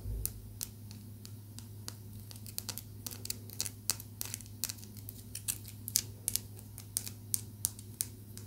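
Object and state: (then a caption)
Blue calcite raw stone. A small, rough, solid chunk of raw blue calcite is tapped with long nails, producing a rapid, irregular series of sharp, dry clicks with bright high-frequency edges and almost no ring. The clicks sit over a steady low hum, with some taps louder than others.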